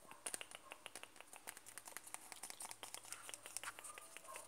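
Fingertips tap rapidly and continuously on the side wall of a closed, white-and-blue 100 g Nivea plastic cream jar. The result is a quiet stream of short, dry, bright clicks that stop almost instantly, over a faint low hum.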